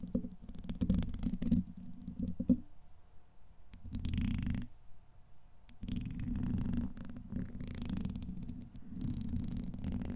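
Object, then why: Steel wire-mesh microphone grille scratched with a brush handle. The tip of a thin black makeup brush handle, held by fingertips, is scratched and dragged across the hollow, domed steel wire-mesh grille of a large Blue Yeti-style condenser microphone. It makes dense, muffled scratching and rumbling bursts that sit mostly in the low range, with a couple of brief quieter pauses between the passes.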